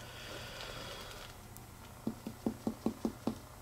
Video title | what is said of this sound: Percussion and Liver Span (a) | you notice that it was still tympanic That is because he does not have a splenic enlargement